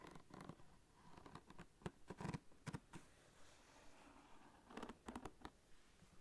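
Fingernails scratch and rub a small light-blue fabric zip pouch with a flamingo print, soft and hollow and holding contents, near its zipper. Quiet, dull, low-heavy scratching and rustling comes in uneven bursts, with short sharp scrapes standing out between softer rubbing.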